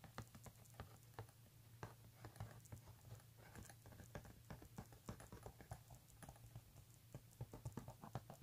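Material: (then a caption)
Leather. A pink embossed leather handbag lies flat while fingernails scratch across the leather and fingertips tap it. Quick, dry taps and soft scratching sit over a steady low hum, with the taps bunching together more densely toward the end.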